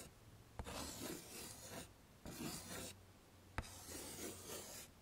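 A hand draws a face outline and hair with white chalk on a flat, dark chalkboard in a wooden frame, scraping the chalk across the surface. Three bursts of dry, bright, raspy scratching are heard, two of them opening with a sharp tap as the chalk meets the board, with quiet pauses in between.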